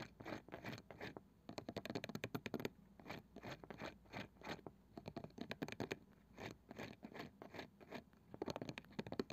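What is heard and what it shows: Long painted fingernails from both hands scratch and tap the flat light wooden lid of a palm-sized round box with a woven cane side band, probably hollow, its contents not visible. Rapid dry scratching strokes and light taps come in dense bursts with short pauses between them. The sound is quiet and crisp, with no ring after each contact.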